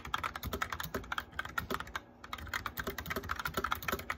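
Fingertips and nails tap quickly on a white plastic mechanical keyboard with lit keycaps while typing. The result is a steady run of short, dry clacks with a bright click around 1.3 kHz and soft low thumps. A brief pause falls near the middle.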